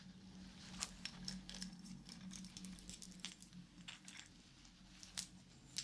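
A wristwatch with a segmented wooden link band, a metal case and a round wooden medallion tag is held in the hands while its band is handled and tapped with fingertips and yellow plastic fingertip claws. It makes quiet, rattling clicks and sharp, bright taps over a steady low hum.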